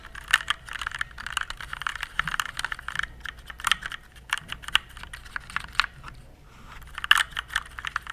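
Fingertips type on a compact RGB plastic mechanical keyboard held at an angle. Quick, uneven bursts of crisp, bright key clicks and clacks come with almost no low end, with brief lulls around the third and sixth seconds before the typing picks up again.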